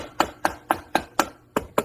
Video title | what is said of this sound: Honda 420 500 520 Rancher Foreman Rubicon Primary Gear Reduction Install - Part 1 | you can kind of tell when the cover will get loose. It'll change how it sounds when you're tapping on it.